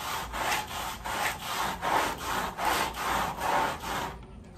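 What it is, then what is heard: Woven rug being scrubbed with a brush. A red-handled white bristle brush scrubs a wet, sudsy woven pile area rug laid on a plastic sheet. Steady back-and-forth strokes make a rhythmic rasping, wet swish, centered in the midrange with a bright hiss, until it stops near the end.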